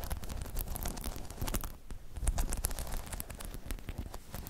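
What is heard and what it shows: Long chrome nails tap and scratch across a hollow, spiky rubber half-dome balance pod. The result is a dense, continuous stream of quick, dull, low thuds mixed with bright, scratchy rustling, briefly easing off just before the 2-second mark before picking up again.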